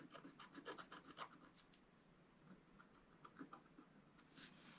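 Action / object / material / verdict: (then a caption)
scrape / black-coated scratch-art card scratched with a wooden stylus / coated card / none. A wooden stylus held upright scratches the coating of a flat, black-coated scratch-art paper card. Quiet, dry, bright rasping strokes come in quick bursts, densest and loudest in the first second and a half, softer through the middle, then picking up again toward the end.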